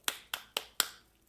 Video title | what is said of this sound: PASTELZINHO FRITO! RECEITA FÁCIL COM DICAS DE CONGELAMENTO | Olha só, dá para perceber, não é? Supercongelados para fritar.